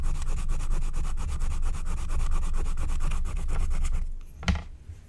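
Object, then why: Wax-coated scratch-art card scratched with a wooden stylus. A wooden stylus held in the fingers scratches the black wax coating on a flat, thin scratch-art card made of wax-coated paper. Rapid, steady scratching strokes, about four per second, carry a low rumble and a bright grainy texture for about four seconds. The scratching then fades to near quiet, with one short, sharper scrape just after.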